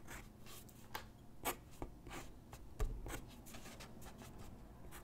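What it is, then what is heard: Pencil sketching on paper. A graphite pencil sketches on a single white paper sheet lying on a wooden desk, its tip scratching across the paper in short, irregular strokes. The soft, bright scratches come and go over a quiet low background, with a few sharper, louder strokes standing out.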